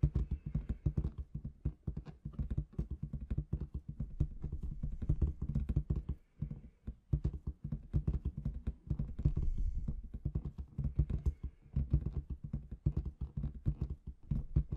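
Long red nails tap rhythmically on the surface of a large, inflated clear latex balloon with confetti inside. The taps come as rapid, dull, deep thumps in quick bursts with brief pauses. Each tap stops short with almost no ring.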